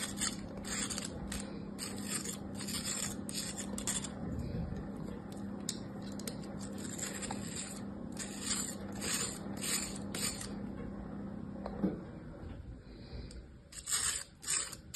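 A metal craft knife blade scrapes and slices thin layers off the packed, level surface of kinetic sand in a yellow plastic bear-shaped mold held in one hand. Repeated gritty, bright scraping strokes come in uneven bursts over a steady low hum that stops near the 12-second mark. Louder, sharper scrapes follow near the end.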